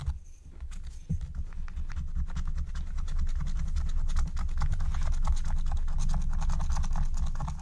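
A wooden stylus scratches the coating of a thin, black-coated Care Bear scratch-art card lying flat, making quick, uneven rasping strokes about four per second. The scratching starts faint, grows louder after about a second and then holds steady over a constant low rumble, with faint music in the background.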